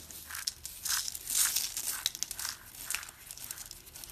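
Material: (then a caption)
Soap. Hands with dark green nails scoop, squeeze and rake through a pile of crushed dry orange soap shavings and flakes made of small brittle pieces. The result is a steady stream of dry, crisp crunching and crinkling, almost entirely high and bright with nothing low. Louder swells come as the flakes are squeezed, and each crackle stops short with no ring.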